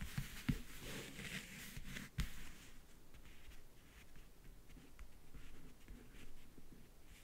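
Fingertips and nails tap and scratch the top of a closed, hollow rectangular backgammon case about 40 cm wide, covered in map-print faux leather and lying on a bed. A few sharp, dull taps with low, hollow thumps stand out over soft, continuous scratching and rubbing with a faint bright hiss. Each tap dies away almost at once, leaving the quiet scratching to carry on.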